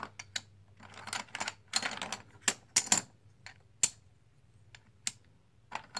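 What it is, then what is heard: Plastic poker chips. A stack of green plastic composite poker chips, solid discs, is held in the hands while fingers and nails shuffle them and clack them together. Sharp, bright clicks and short rattling bursts come at an irregular pace, each dying away almost instantly, with quiet gaps between them.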